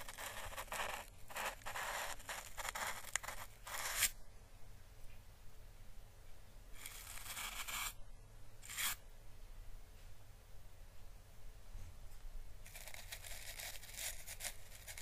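An orange, hollow, dried papery Chinese lantern husk is held in the fingers and brushed near its base with paintbrush bristles. Bright, dry, crackling brushing comes in bursts: a long stretch at the start, two shorter strokes in the middle, and another run at the end. A steady low hum sits underneath throughout.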